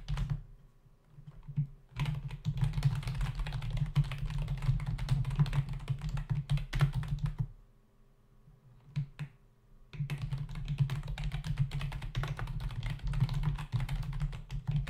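Fingertips of both hands type rapidly on a full-size black plastic membrane keyboard with hollow keys resting on a dark desk. Dense bursts of dull, low-pitched key clicks and thumps run from about 2 to 7.5 seconds and again from 10 seconds to the end, separated by a near-quiet pause with only a few isolated taps.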